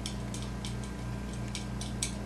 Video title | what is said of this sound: Random Andrew's review of The eVic-VT | I'm just tapping it lately it's a noisy button